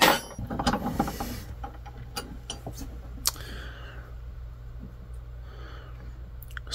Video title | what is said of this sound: 1HD-FTE intake heater delete for the Land Cruiser | that crunchy noise that sounds like ceramic to me give this a little gentle tap